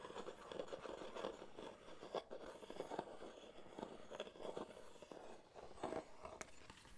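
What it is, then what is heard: Wooden box. Fingertips and short nails tap and scratch the sides and lid of a small, hollow reddish wooden box with a lid, held in both hands. Quiet, dry, hollow taps mix with continuous scratchy scraping, centered in the mids with brief bright clicks. Each tap dies away almost instantly.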